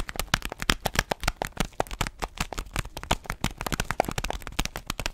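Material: Paper foil.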